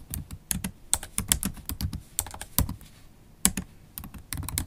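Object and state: Laptop keyboard with plastic keys in aluminium body.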